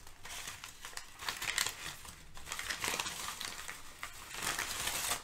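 Thin brown kraft packing paper is crumpled, gathered and crinkled between hands with nails. The result is a dense, bright crackling crinkle with almost no low end, swelling in louder rustling bursts over about five seconds.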